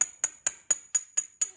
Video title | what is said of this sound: How to Detect Hairline Crack in a Ceramic Vessel Using Sound | all around it sounds the same it doesn't matter where i tap